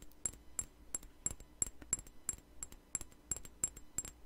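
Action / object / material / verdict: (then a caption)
tap / small glass perfume bottle / glass / none. A small clear glass perfume bottle with a white flower cap is held in the hand and tapped with long nails close to the microphone. It gives a steady series of short, bright, high-pitched clinks at a quick, slightly uneven pace, with little ring after each tap.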